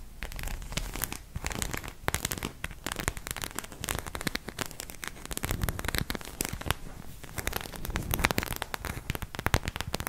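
Long nails rapidly tap and scratch across the head and torso of a white plastic acupuncture figure. The result is a dense, continuous stream of crisp clicks and crackly scrapes with a bright edge and some low thumps, each hit dying almost instantly.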